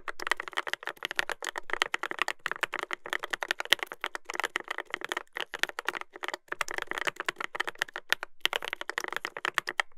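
Fingertips type continuously on a Dolphin 2021 mechanical keyboard with a brass plate and plastic keycaps. The result is a dense run of short, sharp clacks with a bright, mid-high tone and little low end. The rhythm breaks briefly around the five- and six-second marks.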